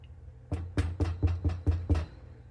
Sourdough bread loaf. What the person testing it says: when you flip it over and you knock on the bottom. It should sound hollow or like you're knocking on wood.